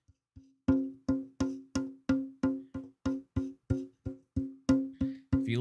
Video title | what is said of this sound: Fixing Fiddles, Building Banjos! Hobby Luthier Work 07/06/2022 | if you listen for it, you can kinda hear it ring